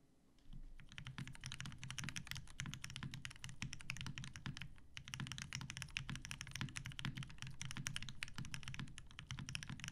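A TGR Jane V2 mechanical keyboard with 63.5g Tealios switches, cream and grey PBT plastic keycaps and a dark grey metal case rests on a desk mat while both hands type rapidly and continuously. Dense, crisp key clacks with a deep, low thocky body and bright tops run throughout, with a brief dip in the typing near the middle.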